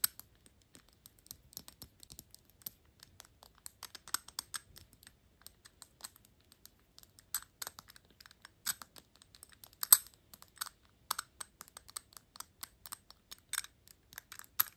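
Long acrylic nails tap quickly on a shiny gold metal perfume cap with a horsebit ring, sitting on a Gucci glass bottle. The result is dozens of quiet, bright, clicky taps with a high metallic tick that die away almost instantly.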